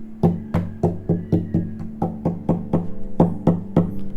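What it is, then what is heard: Tap-tuned acoustic guitar top, resonant. Fourteen taps on the wooden top of a Cort Earth 100 acoustic guitar, which has had its side brace removed, its bracing thinned and its top tap-tuned. Each tap gives a short, low, woody knock centred around 170 Hz with a brief resonant bloom that bounces back, the resonance the modification aims for.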